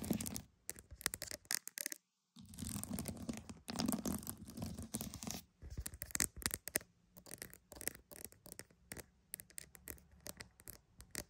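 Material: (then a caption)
Pearl. Pearls are tapped and scratched, giving dense, bright scraping bursts with a brief pause early on. These give way to a run of quick, sharp clicking taps that die away almost instantly.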